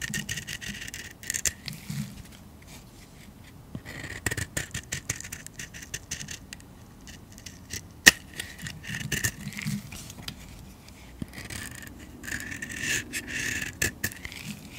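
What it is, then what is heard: Soap bar being shaved. A metal blade shaves many thin curls off a solid yellow painted soap bar held in the palm. Soft, bright scraping strokes come in uneven bursts, with a steady hiss-like tone near 1.9 kHz and a few sharper clicks between quiet pauses.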